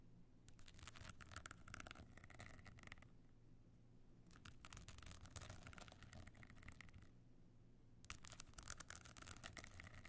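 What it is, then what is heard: Stone-chip covered clutch bag scratched with nails. Long fingernails on both hands scratch the pebble-chip top of a closed, rigid stone-chip covered box clutch with a gold frame edge, lying flat. Three bursts of dense, bright, crackly scratching are separated by short pauses. A steady low hum runs underneath throughout.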